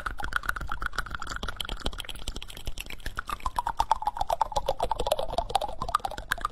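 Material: Wood.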